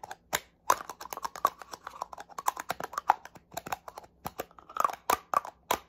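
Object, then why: Plastic spray bottle. Fingernails tap quickly on the body of a small black plastic spray bottle. Rapid, irregular, dry plastic clicks sound with a mid-pitched hollow tone and bright edges. Each tap dies away almost at once.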